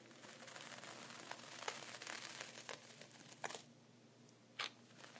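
A dark wooden pointer draws diagonal lines through a flat layer of sea salt inside a clear plastic zip bag, scratching and tracing through the plastic while a hand holds the zip edge. Bright, gritty crinkling and scratching fills the first three and a half seconds with sharp crackly bursts, then drops to near quiet before one more short crinkle.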